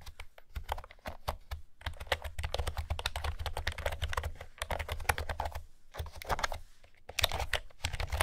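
Long-nailed fingertips type on a light blue plastic retro keyboard with pastel round keycaps and a hollow housing. Rapid, bright, clicky taps come in bursts with short pauses over a steady low hum.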